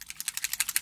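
A small 15 ml bottle of Kiko Milano liquid foundation pigment drops is shaken before use because the liquid looked watery. The mixing balls inside rattle in a quick run of sharp, bright clicks.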